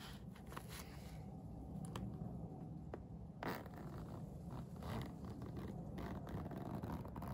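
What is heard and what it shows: A holographic iridescent faux-leather vinyl pencil case with a blue plastic coil zipper, holding pencils, is zipped as fingertips pull the slider along it. A steady, low-heavy zipping rasp runs throughout, with brief bright ticks of the slider and a louder scrape just past the midpoint.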